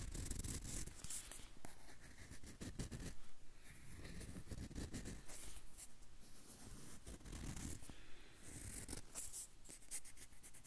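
A whole yellow banana is held in one hand close to the recorder while fingertips and nails scratch and rub its peel. The result is a steady, close-up texture of dense low rumbling handling noise, overlaid with quick bright scratchy crackles that come in bursts throughout.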